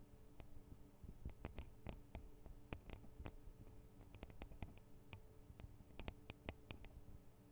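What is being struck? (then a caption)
Metal and plastic microphone capsules of a handheld recorder. Long acrylic nail tips tap on the tops of the two small hollow metal and plastic microphone capsules of a Tascam DR-40 recorder. The taps come as an irregular run of sharp, dry, bright clicks that die away instantly, over a steady low hum.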